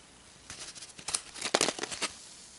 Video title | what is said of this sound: SHASHA SJ OPENS A SURPRISE EGGS WITH MINIATURE TOYS INSIDE ?!? EXCITING!!! | when you shake it you can hear something in there